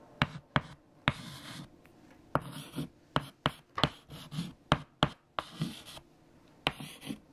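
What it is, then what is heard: Chalk writing on a chalkboard. White chalk held in fingertips writes equations on a large flat black chalkboard. Sharp chalk taps, about twelve, land between bursts of dry scratching strokes. The sound is a crisp, fairly quiet scratch-and-click rhythm.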